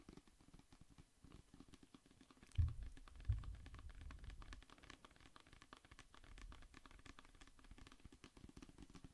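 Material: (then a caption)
Plastic. Long fingernails tap and scratch a medium clear/white plastic pump bottle of lavender liquid soap with a white pump cap and lavender label, held in hand and filled with liquid. Soft, quiet clicking and scratchy patter runs throughout, with two louder, dull low thumps near the middle.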